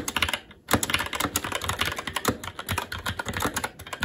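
Fingertips of both hands type continuously on a SteelSeries Apex 7 TKL mechanical keyboard with red linear switches, black plastic keycaps and an aluminum plate. About 25 rapid, bright plastic clacks sound with very short decay. There is a brief pause near the half-second mark, then the typing resumes at a steady, uneven rhythm.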